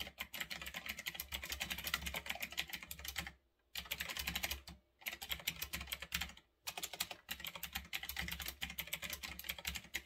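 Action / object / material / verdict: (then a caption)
tap / mechanical keyboard with round plastic keycaps / plastic / none. A retro typewriter-style mechanical keyboard with round backlit plastic keycaps, resting on a desk, is typed on quickly with fingertips. Fast, bright, crisp key clicks run in dense bursts, broken by a few short pauses, over a faint low hum.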